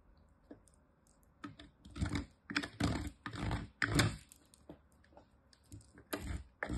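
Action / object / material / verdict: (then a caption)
scrape / soap bar on metal grater / soap / none. A small, nearly used-up piece of solid green bar soap is scraped with the fingers across the fine side of a metal grater, and the crumbs pile up. The result is a series of irregular, rasping scrape bursts, heavy in the low end with a faint bright hiss, that swell and fade between quiet pauses.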